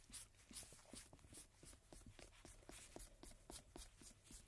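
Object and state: Paper playing card being rubbed.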